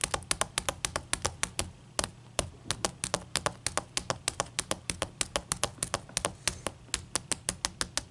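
Long nails tap rapidly on a large, clear, solid ice cube resting on a towel, making about 47 sharp, bright clicks with a faint low hum beneath. Each tap is short and dry, dying away almost at once, and the hands lift away by the end.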